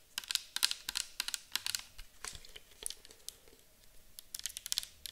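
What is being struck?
Plastic bottle of liquid tapped with acrylic nails.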